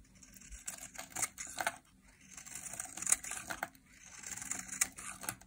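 A utility knife blade carves and scrapes shavings off a small, solid, rectangular bar of dry yellow soap held in a hand with long painted nails. The clip has bright, crisp scraping and crackling strokes that come in three bursts with short quiet gaps between them. There is almost no low end.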